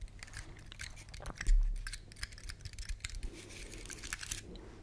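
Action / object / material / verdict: scrape / pine cone with woody scales / wood / none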